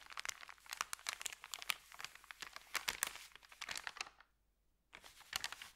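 Fingertips rub and press a flat, thin, empty white paper sandwich bag, making dense, bright crinkling and crackling with sharp, dry snaps and no low rumble. The crinkling runs steadily, stops for about a second of near silence, then resumes with a few louder crackles.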